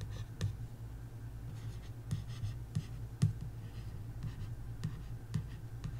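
A long nail traces and scratches over the text on the glossy card back cover of a paperback coloring book. Soft, dry scratching strokes are broken by several short, bright scrapes and ticks, over a steady low hum.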